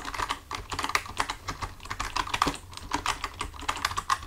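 Both hands type with their fingertips on a full-size black plastic computer keyboard resting on a desk. The result is a quick, steady stream of short, crisp key clicks with bright edges, each dying away almost at once.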